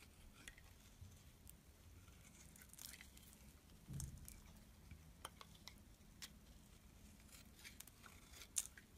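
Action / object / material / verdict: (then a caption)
scrape / bar of soap scraped with a metal blade / soap / none. A metal blade scrapes thin shavings off a solid black and white striped bar soap held in the hand. Soft, quiet scraping runs throughout with crisp, bright ticks and short crackles, over a steady low hum. The clip ends on a sharper scrape.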